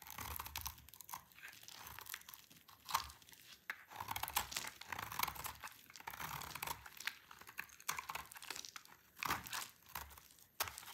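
A utility knife blade carves and scrapes a solid, dry green bar of soap held in the hand, and crunchy flakes fall onto a pile. The sound is a steady series of crisp, bright scraping crunches and crackles with short pauses between strokes, with very little low end.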